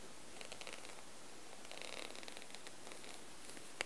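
Fingertips scratch and rub the chest area of a striped short-sleeve cotton shirt hung flat against a wall. The sound is a quiet, soft, papery rustling with light scratchy ticks and bright, airy hiss, ending with one sharper click near the end.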